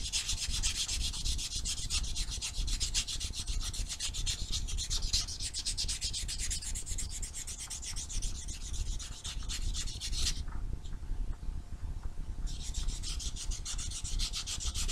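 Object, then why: Foam nail buffer block on fingernails. A small solid foam nail buffer block with blue and white abrasive faces is held in one hand and rubbed back and forth along the nails of the other. The result is a steady run of rapid, dry, scratchy strokes with a bright hiss over a soft low rumble. The bright hiss drops away for about two seconds near the end before the rubbing picks back up.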